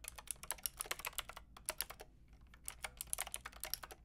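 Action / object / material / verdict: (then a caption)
tap / plastic mechanical keyboard with round keycaps / plastic / none. A Lofree mechanical keyboard with a plastic frame and round keycaps is typed on continuously with two hands by someone with long red nails. The result is a steady stream of sharp, bright plastic clicks and clacks with very short decay. There is a brief lull in the middle before the typing picks back up.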